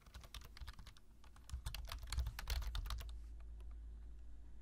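Fingertips type quickly on a black plastic low-profile computer keyboard, giving a flurry of short, crisp key clicks over a steady low hum. The tapping grows busier and louder in the middle, then stops after about three seconds, leaving only the faint low hum.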